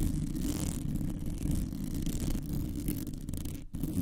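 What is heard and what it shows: Long nails on both hands quickly scratch a rounded, hollow metal mesh microphone grille. The result is a dense, continuous low rumbling and scratching, with a brief drop to near silence just before the end.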